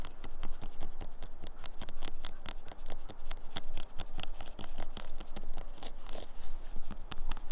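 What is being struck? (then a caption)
Weathered wooden tree stump. Long fingernails scratch and tap across a dead, weathered wooden tree stump with exposed orange fibrous wood and a grey weathered surface. A steady stream of dry, crisp scratches is broken by sharp, bright taps that stop instantly with no ring. The stump sounds solid.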